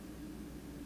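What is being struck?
Nothing is struck.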